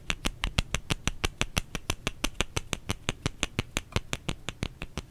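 Fingers tap on a solid bar of soap in a quick, steady rhythm of about three taps per second, 31 taps in all. Each tap is a short, dry click with a low thump underneath and almost no ring.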